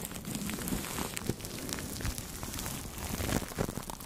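Two makeup brushes rub and sweep across clear plastic cling film wrapped over the head of a Blue Yeti microphone. The result is a steady, soft, crinkly rustle full of fine crackles, heavy in the low end with a bright, airy hiss on top.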